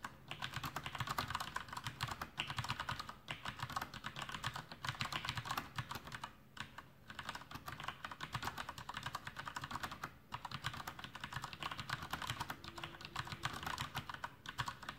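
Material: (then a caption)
Plastic. Fingertips of both hands type continuously on a full-size black plastic Masterkeys Pro M mechanical keyboard with Cherry MX Brown switches and blue backlit keycaps, resting on a desk. A dense, steady stream of sharp clacky keystrokes with bright, short-lived clicks and a low thock beneath them runs throughout, broken only by brief pauses.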